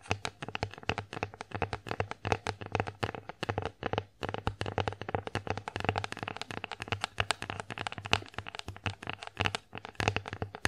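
Long acrylic nails tap rapidly across the flat face of an empty wooden bear-shaped plate, making a dense stream of short, dry, bright clicks with very little ring. A faint steady low hum runs underneath, and the tapping stops briefly about four seconds in before resuming.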